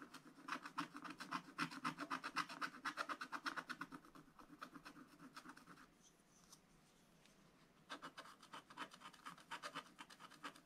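A wooden stylus scratches quick strokes into the black wax coating of a scratch-art paper page, working on the right side of the picture. The result is a steady run of short, dry, raspy scratches at about four per second, centred around 1 kHz with a faint low body. The scratching fades to near silence for a couple of seconds before resuming.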